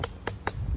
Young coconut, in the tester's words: Ada bunyi ting kan. ting tak ada. Pop tu insya-Allah. Isi cantik.